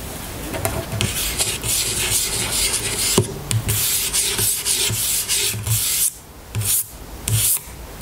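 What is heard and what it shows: Long nails scratch along the label of an amber plastic oil bottle lying on a table. The result is a steady, bright rasping scrape with soft low bumps underneath, breaking into short separate strokes toward the end.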